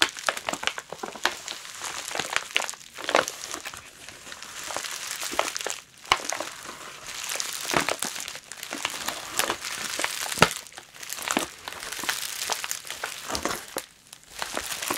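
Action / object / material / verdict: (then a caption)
scrape / plastic bubble wrap packaging / plastic / none. Long nails scratch a clear plastic bubble wrap package with a plush toy inside while hands grip and crinkle its edges. Dense, bright crinkling and sharp crackles fill the clip, with almost no low end, and the activity swells and eases in waves with short pauses.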